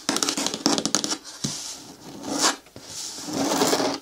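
Long nails scratch and rub the side wall of a green hard plastic bucket bin with a lid. A quick run of sharp, bright scratches comes first, followed by longer, smoother rubbing strokes that swell and fade with a hollow plastic tone.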